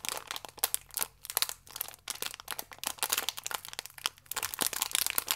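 A small, full, plastic-film biscuit pack is twisted and crinkled in both hands with fingertips and nails. The result is dense, bright crinkling and sharp crackles in uneven bursts with brief pauses, at a quiet level with almost no low end.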